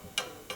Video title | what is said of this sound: Restoring abandoned Bianchi! Vintage bike rebuild transformation… | that bolt was kissing the chain stay scratching it quite nastily causing that tapping sound